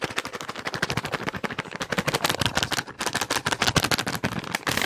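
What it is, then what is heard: Plastic wet wipes pack. A hand-sized, soft plastic wet wipes pack, green and white, is crinkled and tapped quickly with fingertips. The result is a fast, irregular stream of sharp, dry crackles and taps with bright, papery high-end and very short decay, growing slightly louder toward the end.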